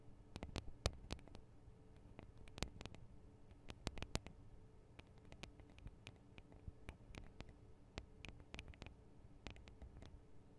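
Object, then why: Recorder microphone capsules, metal and plastic housings. Long acrylic nails tap quickly on the microphone capsules of a Tascam DR-40 recorder, small hollow metal and plastic housings. Quiet, sharp, irregular clicks with bright tops and a dull low thud die away almost instantly over a soft background hum.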